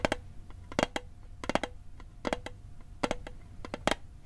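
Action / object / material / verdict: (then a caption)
tap / small hollow metal tin / tin plate / none. Fingertips and nails tap fast on the lid and sides of a small, hollow, rectangular metal mint tin of the Altoids type with a blue and white label, held in one hand near the microphone. The taps come in quick, uneven clusters of sharp, bright clicks with a faint metallic tone around 620 Hz that dies away almost at once.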